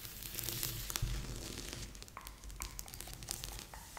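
Fingertips and nails rub and scratch across a large assembled cardboard jigsaw puzzle lying flat on a board. The result is a continuous dry, papery scratching with many small sharp ticks and crinkly bursts over a low rumble, with bright high hiss throughout.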